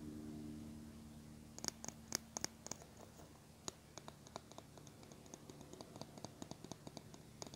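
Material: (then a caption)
Plastic. Fingernails scratch and tap the handle and bristles of a small teal plastic hairbrush held in the hands. After a faint low hum in the first second and a half, a quick, irregular series of sharp, bright clicks and scratchy ticks follows, each dying away almost instantly.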